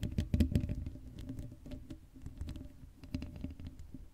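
Long acrylic nails scratch the black metal mesh grille of a Blue Yeti microphone with no cover on its hollow dome. The result is a dense, uneven patter of quick scratchy clicks over a heavy low rumble, loudest in the first half second and then settling into softer bursts.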